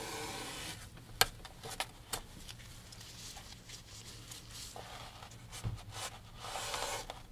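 A gloved hand wipes the painted canvas of a large oil painting in a dark wooden frame, hanging upright, with a grey microfiber rag. Soft, hissy rubbing swells and fades across the clip, with a few brief, sharp taps and scuffs standing out.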